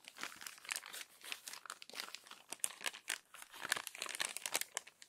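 Fingers with long nails turn the crinkled pages of an open glossy paper magazine and press the crumpled pages flat. The result is a dense, continuous run of bright, crisp crackles and rustles with no low end, each crackle dying away almost instantly.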